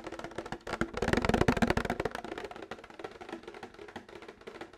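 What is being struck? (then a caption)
Plastic milk jug. Fingernails tap rapidly on a plastic milk jug, making quick, hollow, clicky taps with a mid-pitched body and short, dry decay. The tapping is dense and uneven, louder in the first half and softer toward the end.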